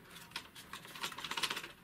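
An AR-15 carbine fitted with a front pin to remove upper/lower receiver play is shaken, and its stock gives about nine light, high-pitched rattling clicks. The stock still rattles a little with a rubber buffer fitted, while the carbine itself rattled before the pin was installed.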